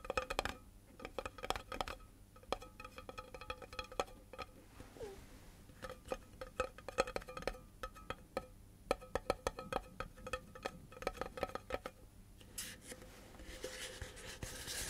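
Fingertips tap quickly along the side of a tall, hollow cardboard composite can with metal ends, then tap near its metal rim while it is held upright. The rapid, dry taps give a hollow, woody tone that dies away almost at once. Near the end, a brighter, hissy rustling takes over.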